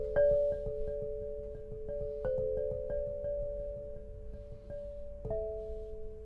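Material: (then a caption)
Granite. An 8-bar lithophone of solid black granite slabs, tuned to 432 Hz and resting on a low frame, is struck with two soft-headed mallets with red and green balls on wooden sticks to play a melody. Each strike gives a soft attack and a clear, bell-like tone around the mid range, which rings for over a second. The notes overlap into a sustained, shimmering hum.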